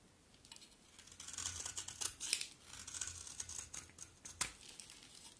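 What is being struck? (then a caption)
Bar of soap scraped with a knife blade. A utility knife blade scrapes a solid, dry, terracotta pink-brown bar of soap with an embossed logo, peeling it into shavings. The sound is a series of crisp, bright, crackly scrapes that rise and fall in short strokes with a faint low hum underneath. One sharp scrape stands out near the end.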